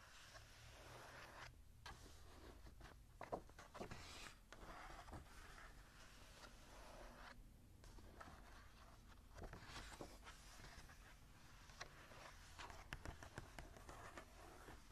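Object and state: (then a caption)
Paper journal page being scratched. Long nails scratch across the lined cream paper page of an open journal. The result is a run of dry, papery scraping strokes that swell and fade, with bright rasping texture over a low, steady background hum.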